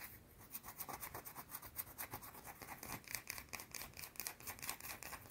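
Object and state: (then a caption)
Bar of soap scratched with nails. Long painted nails scratch a small round solid white soap bar held in one hand, making fast, repeated dry scraping strokes. The bursts are bright and raspy, with about 21 quick strokes across the clip and very little low-end weight.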